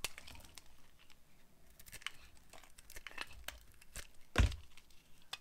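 A metal blade carves thin, crunchy strips from a solid rectangular bar of dried dark blue soap held in the hand. Quiet, dry crackling scrapes and short bright snaps repeat throughout, with the loudest crunch near the end.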